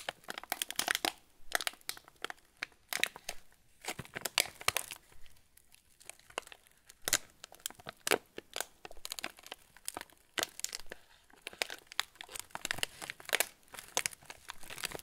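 Both hands hold a full yellow plastic-film TUC cracker packet, and the fingertips squeeze and rub the wrapper. The result is a steady run of sharp, bright crinkles and crackles with a few quieter pauses. The sound is mostly high and dry, with almost no low end.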